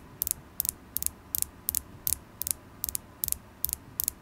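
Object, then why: Polished carnelian stone point. A solid polished carnelian stone point, held in the fingers, is tapped with long acrylic nails. Eleven quick bursts of two or three sharp, bright clicks come at a steady pace, each dying away instantly. A faint low rumble sits beneath them.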